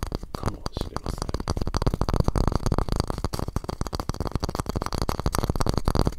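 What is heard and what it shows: Fingertips tap and scratch the wooden walls of a small, square, hollow, light wooden masu cup tilted on its side. It makes a rapid, irregular stream of soft, dull, low-pitched knocks mixed with scratchy friction. Each tap dies away almost instantly with no ring.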